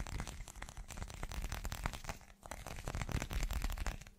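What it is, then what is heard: Glass chunk tapped with fingernails. An irregular, hand-sized solid chunk of translucent teal glass is held up and rapidly tapped with the fingertips and short nails of both hands. The result is a fast, dense stream of short, dry clicks and knocks over a low, thumping body, with almost no ring after each tap. There is a brief lull just before the midpoint before the tapping picks up again.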